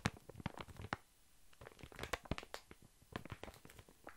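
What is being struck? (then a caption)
Soft pack of baby wipes in thin plastic film. Long fingernails scratch and tap a large, soft, full pack of baby wipes held in the hand, its thin printed plastic film crinkling. Sharp, dry taps and crackly scratches come in quick irregular bursts with brief quieter gaps, each with a thumpy low body and a bright crinkly edge that cuts off almost instantly.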